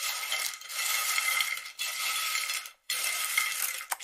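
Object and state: Dry, crispy air-fried crab-stick snacks.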